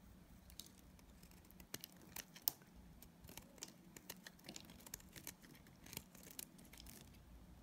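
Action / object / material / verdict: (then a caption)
scrape / bar of dried soap / soap / none. A utility knife blade cuts chunks off the remaining piece of a solid pink and purple dried soap bar held in hand. Quiet, crisp clicks and bright scraping snaps sound over a low background hiss. Each cut ends almost instantly with no ring.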